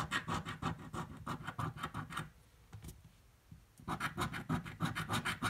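A metal coin held in the fingertips scratches a purple paper scratch-off lottery ticket resting on a table. Quick, rhythmic rasping strokes run steadily, then pause into near quiet for about a second and a half before resuming just as fast.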